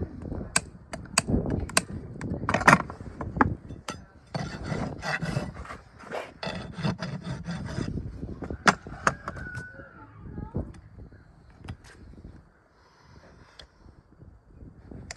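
A steel rasp is filed along the lower keratin horn wall of a shod horse hoof, marked and resting on a hoof stand, near the shoe. Sharp, dry clicks and knocks come first, followed by a run of gritty rasping strokes with a bright edge. It ends in softer scraping that fades to quiet.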